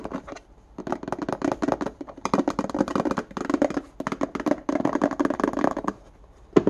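A small, hollow, empty index card box with a clear plastic base and a ribbed white plastic lid is held in the hand and scratched and tapped with fingernails along its ridged lid and sides. Rapid, dry clicking and scraping comes in dense bursts separated by short pauses, with a hollow mid-range tone and almost no ring. It ends on one sharper, louder tap.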